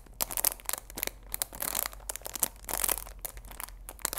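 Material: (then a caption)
Cellophane. Fingers squeeze and crinkle the clear plastic film wrapped around the sides of a cardboard chamomile tea box. The result is a dense run of bright, sharp crackles and crinkly snaps that die away almost instantly, with very little low end.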